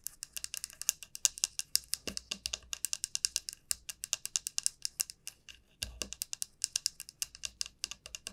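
A large, hollow dried bottle gourd is held upright at an angle while a long nail taps and scratches its rounded bottom end. The result is a rapid run of about 58 quiet, bright, high-pitched clicks with almost no ring, plus a few faint low thumps.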